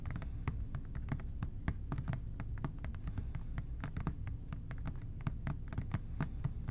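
Fingertips tap quickly and softly on the labeled front of an OxiClean plastic spray bottle held upright. A steady stream of short, dull plastic taps, some light and some firmer, runs over a constant low hum.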